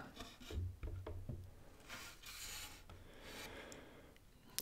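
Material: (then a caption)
Wood. Fingertips and hands rub and slide across the surface and edges of a large, flat panel of grey, weathered, grain-textured solid wooden boards lying on a table. Soft, dry rasping strokes are heard, with a few low, dull bumps early on, then brighter, hissy sweeps across the grain. The clip ends with a sharp, high click.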